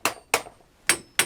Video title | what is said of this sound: Should John Wick have used nunchucks?? | Do you hear that? Something clunk, clank, clank.